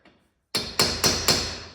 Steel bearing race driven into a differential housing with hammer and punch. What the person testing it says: Once it seats, you'll hear that tone change when you're tapping on it.